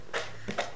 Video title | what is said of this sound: Bűvésztrükkök 7. Rész - Érme Az Üvegben | most leejtem. Tehát látjátok a koppanását, teljesen nem tudom elfeszélni, nem is ebben rejlik a megoldás